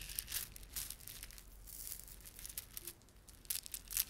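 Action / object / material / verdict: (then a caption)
scrape / plastic beaded ornament / plastic / none. A plastic beaded ornament is rubbed and squeezed by fingertips. The result is quiet, irregular bursts of bright, crinkly clicking and rustling with a faint low hum underneath.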